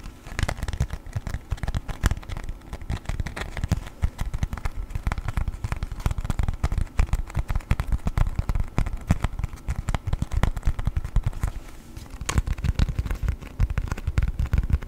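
A thin, flexible yellow sheet of beeswax-coated cotton food wrap, folded into a square, is crinkled, folded and rubbed with fingertips and nails close to the microphone. The result is a steady stream of dense, crisp crackles and soft crinkles over a heavy low-end rumble of handling thumps, continuing for the whole clip.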